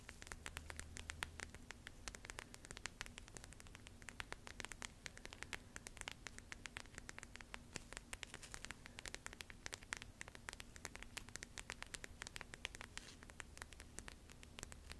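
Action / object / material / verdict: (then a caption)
scrape / plastic gel bead eye mask / plastic / none. Long nails quickly scratch and pat the bumpy surface of a small lilac plastic gel bead eye mask filled with purple beads, held close up. Dense, rapid, crisp tapping and scratchy ticks run throughout, bright and dry with no ring, over a faint steady low hum.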